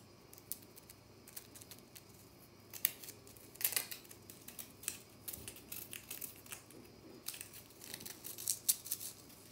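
Long natural nails scratch and gouge a small, round, white, solid, dry compressed powder bath bomb, flaking powder onto the hands. Quiet, dry, bright scraping and crisp clicking ticks come in irregular bursts over a faint low hum, with each short sound ending almost instantly.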